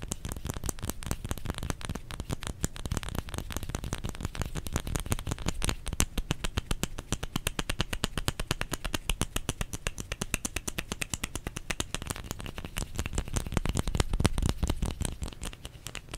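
Fingers tap rapidly and continuously on a bar of soap for about sixteen seconds. The taps are short, dry, dull thuds with most of their weight in the low end and a faint bright click on top. They run in dense, steady bursts at an even level throughout.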